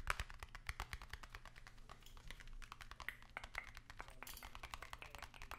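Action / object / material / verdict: tap / long narrow cardboard box tapped with fingernails / cardboard / none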